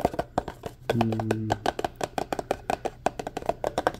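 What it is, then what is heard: Empty paper cup. Fingertips and nails rapidly tap and scratch the sides of a tall, empty, hollow white paper cup held in the hand, making a quick run of short, dry, hollow clicks with almost no ring. A brief low steady hum sounds under the taps around the first second.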